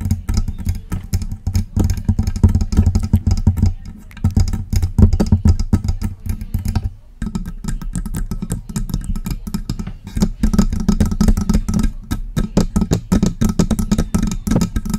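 A silver metal USB desktop microphone with a hollow body is tapped and scratched with long press-on nails. The result is a dense stream of quick clicks and scrapes with a heavy, booming low thump under them. The sound stops briefly around the seventh second before carrying on.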